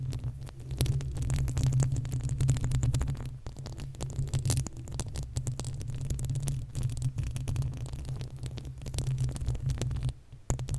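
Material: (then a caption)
Metal mesh. Long acrylic nails on both hands scratch the uncovered, hollow metal mesh grille of a desktop condenser microphone. The result is a dense, continuous low rumbling throb with rapid scraping and tapping strokes layered on top. It drops briefly near the end before resuming.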